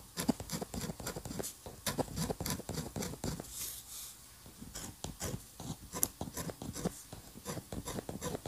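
A steel-nib dip pen scratches quick ink lines of a building sketch onto a flat white paper sheet. The result is a rapid series of short, dry scratching strokes with bright, high hiss and a soft low rasp, and a brief quieter pause midway.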